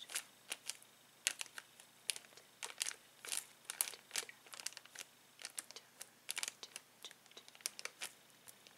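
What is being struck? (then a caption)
Plastic bag of latex balloons. Fingertips scratch the header card of a clear plastic bag full of uninflated latex balloons, then press and crinkle the bag. A quiet, rapid series of short, sharp, bright crinkles and scratches follows, with almost no low end and no ringing between bursts.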